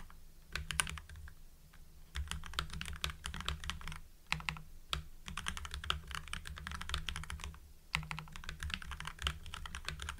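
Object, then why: Mechanical keyboard with plastic keycaps. Fingertips of both hands type steadily on a full-size mechanical keyboard with lubed Gateron Yellow linear switches, white PBT cherry-profile keycaps and blue backlight. The result is a rapid, continuous stream of short, poppy clacks with bright edges over a steady low hum, broken by a few brief pauses.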